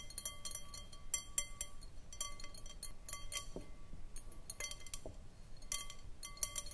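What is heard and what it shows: Long painted nails tap and scratch around the outside of a round, clear, hollow, empty glass bowl on a short foot standing on a wooden table. The result is a quiet, irregular run of short, bright glassy clinks and ticks, each ringing briefly with a faint steady tone, with soft scratchy rustling between the taps.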